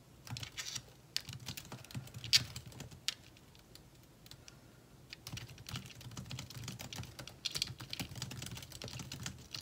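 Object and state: Laptop keyboard with plastic keys.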